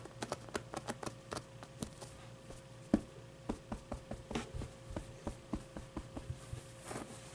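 Fingertips and nails scratch and tap a medium, soft stuffed avocado plushie, working over its plush fabric and fuzzy pit. About twenty quiet, short, dull taps come at an uneven pace over soft fabric rustling, with a faint steady hum underneath.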